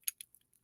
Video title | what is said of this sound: The Michael Jordan Hierarchy - Tier 4/Part 6 - 27 Cards Lurking in the Shadows | you can hear it when I uh you know shake it it's metal